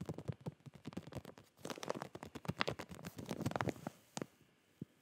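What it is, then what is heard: Plastic zip bag of folded clothing. Fingertips and nails tap and rub the surface of a full clear plastic retail zip bag of folded smiley boxer shorts held in both hands. Quick, dry crinkly taps and scratchy rubs come in a dense run that peaks in the middle, then thins to a few isolated taps at the end.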